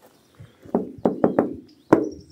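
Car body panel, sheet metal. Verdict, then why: Thin. Six knocks on the thin sheet-metal body panel of a Renault Zoe electric car give short, hollow, tinny thuds centred in the low mids with a quick decay. The last knock is the loudest. The panel sounds like a tin can, which points to a cheap, flimsy body.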